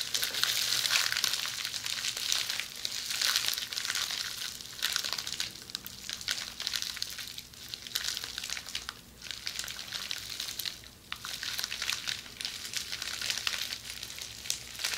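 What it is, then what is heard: Plastic bubble wrap. Long red nails scratch rapidly across a roll of red plastic bubble wrap, up close. A dense, bright crinkling and scratching rustle continues throughout, swelling and easing in waves with almost no low end.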